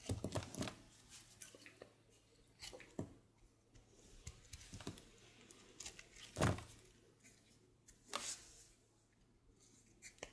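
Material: Soap.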